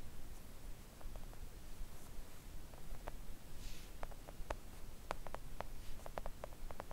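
Long acrylic nails tap a flat, thin, solid pink silicone nail art mat with both hands, in soft, irregular, quick taps. Each tap is a short, dull click with a slightly bright edge, and it dies away almost at once. A low, quiet rumble runs underneath throughout.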